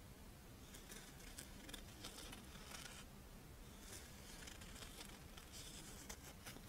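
A crisp, Doraemon-shaped rice wafer monaka with chocolate filling is held in the hands while long nails scratch along its edge and then across its embossed face. The result is a steady run of dry, bright scratching and crinkly ticks over a quiet low hum.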